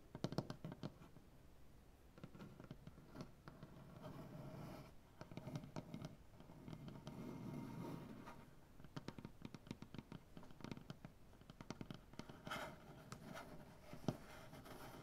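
Fingernails from both hands repeatedly scratch and tap the surface of a solid, light maple butcher block tabletop. The result is a quiet, dry, low-heavy mix of rasping scratches and short, sharp clicks that die away almost instantly, with louder scratching bursts swelling and fading throughout.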